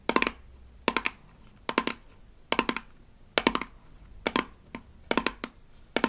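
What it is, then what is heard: Plastic toy toothpaste tube. Long nails tap and scratch along the labeled body of a small, rigid plastic toy toothpaste tube from a Melissa & Doug Super Smile Dentist Kit. Short clusters of quick, dry, clicky taps ring near 1 kHz with a bright edge, separated by quiet gaps. Each tap dies away almost instantly.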